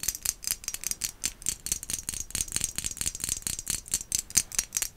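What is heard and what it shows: Long acrylic nails tap rapidly and irregularly on a small, hollow, white glazed ceramic pumpkin with black dots, held in the hand. Each tap makes a bright, dry click with a brief high ring that dies almost at once, with very little low end.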